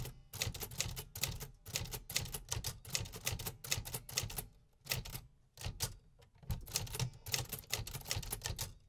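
Fingertips type on the metal keys of a vintage 1950s manual typewriter. Rapid mechanical clacks come in bursts separated by short pauses, each strike a sharp bright snap over a low thump from the machine's body.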